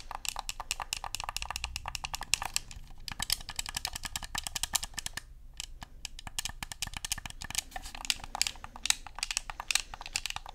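Thumbs click the buttons and fingers tap the body of a black Xbox controller made of hollow plastic. A rapid, uneven stream of short, dry, bright clicks and taps runs throughout, each dying away almost instantly. There is only a little low thump beneath them.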